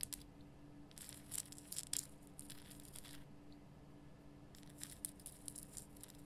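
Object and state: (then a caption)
Himalayan rock salt lamp. Long nails scratch and tap the top of a large, lit, pink Himalayan rock salt lamp made of solid rough salt. Bright, crackly scraping bursts come in clusters over a steady low hum, with quiet gaps between them.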